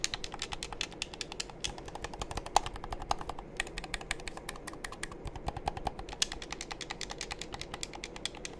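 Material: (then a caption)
Plastic. A hollow black plastic game controller is held in both hands while fingertips press its buttons and tap its shell. A steady stream of dozens of quick, sharp, bright plastic clicks and taps sounds over a soft, low background hiss, each click dying away almost instantly.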